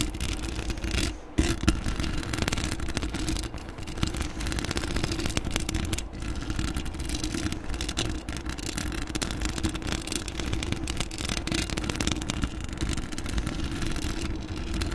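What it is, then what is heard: Metal mesh microphone grille. Long acrylic nails on both hands scratch and tap the domed, hollow, black metal mesh grille of a desktop USB microphone. The result is a steady, dense rush of scratchy, crackling friction with a heavy low-end boom and a short drop-out near the start.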